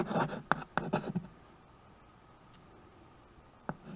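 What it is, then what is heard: Chalk writing on a chalkboard. A white chalk stick writes and scratches across a small wood-framed chalkboard held in a hand with painted nails. A quick run of gritty, scratchy strokes with sharp tapping accents fills the first second or so, then gives way to near silence. A single crisp tap sounds near the end.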